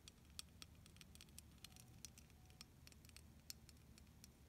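Long nails scratch and tap across a solid, hand-sized clear plastic beaded snowflake ornament held in both hands. Quiet, rapid, bright clicks and ticks patter irregularly over a low, steady rumble. Each tap is short and dry, with almost no ring.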